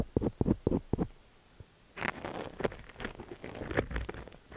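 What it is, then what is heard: Silicone ear microphone scratched with a steel pick. A thin stainless steel ear pick scratches inside the ear canal of a cream silicone dummy-ear microphone while a hand holds the ear steady. Quick, separate low scraping strokes come first, then a short quiet pause. After that comes a denser, continuous crackling scratch with brighter rustling texture.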